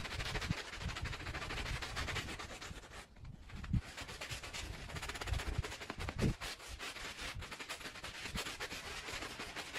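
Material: Fabric.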